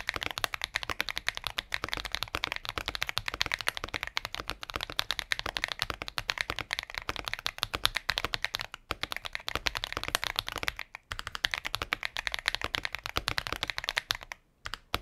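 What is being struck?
Mechanical keyboard, plastic case and plastic keycaps.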